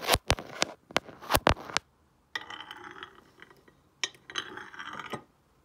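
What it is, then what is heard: Glazed ceramic tile with a stone roller. A stone face roller is rolled by hand over a solid, glossy painted ceramic tile lying flat. The clip opens with a quick series of sharp, bright clicks and taps, then after a short pause gives way to two stretches of hard, gritty rolling and scraping with light clinks.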